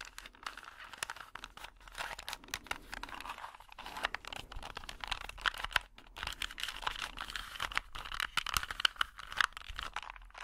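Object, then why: Plastic puzzle cube. A small, solid plastic Rubik's cube with colored stickers is held in both hands while fingers twist its layers and nails tap on it. The result is a quiet, steady stream of dry, crisp clicks and rattles, bright and mid-pitched with almost no low end, each click dying away instantly.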